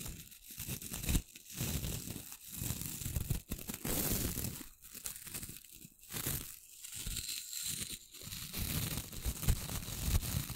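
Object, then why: Small wooden brush with stiff bristles. Long nails flick and strum the tips of a small flat brush with a light wooden handle and short, pale, stiff bristles held above the mic. The result is rough, scratchy rasping bursts like tearing or crinkling, with a heavy low rumble and a bright hiss, broken by brief pauses.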